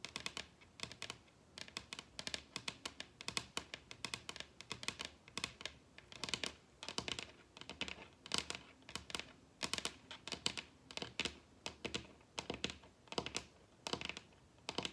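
Long red nails on both hands tap rapidly across a large, solid wooden table top. The result is a quiet, dense stream of sharp, bright clicks in uneven bursts, each dying away almost instantly with very little low end.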